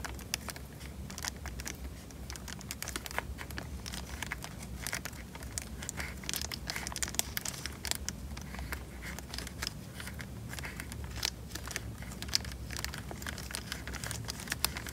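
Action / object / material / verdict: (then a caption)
scrape / small plastic bag of water / plastic / none. A small, clear plastic bag full of water is held above the mic in both hands and squeezed and crinkled with the thumbs. It makes a dense, continuous stream of close crinkling and crackling with many sharp, bright clicks, over a steady low rumble.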